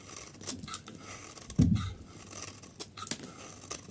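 A metal utility blade shaves the corner of a solid yellow dry bar of soap held in the hand and cuts chunks from it. Crisp, bright scraping and crackling cuts come in short bursts, with one heavier, lower crunch partway through as a chunk is cut away.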